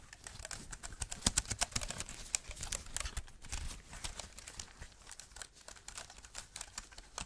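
An Apple-style wireless keyboard with a thin solid aluminium body and white plastic keys is held up in the hands and tapped and typed on with black-gloved fingertips. It gives an irregular run of short, dry, bright clicks and taps with soft low thumps beneath them. Each tap dies away almost at once.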